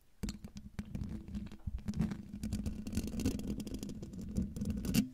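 Long painted nails of both hands scratch the hollow metal mesh grille of a silver microphone in a steady up-and-down motion. A dense, continuous scratching rustle carries a low, rumbling hum with sharp crackling ticks throughout, swelling slightly near the end.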